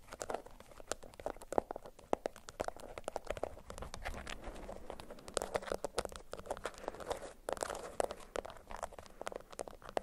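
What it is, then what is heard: Beeswax-coated cotton food wrap. A yellow bundle of beeswax-coated cotton food wrap, held in both hands, is crinkled and scratched with long acrylic nails. A steady stream of dry crinkles and crackles is punctuated by sharp, bright snapping clicks, each dying away almost instantly. The sound is quiet and continuous throughout.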